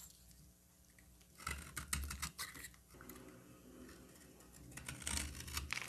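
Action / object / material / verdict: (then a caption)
scrape / bar of soap cut with a knife blade / soap / none. A solid green bar of soap held in the hand is carved and scraped with a utility knife blade. Quiet scraping builds into a run of crisp, uneven cuts and scratches with bright, high edges and a low thud underneath, easing off and then picking up again toward the end.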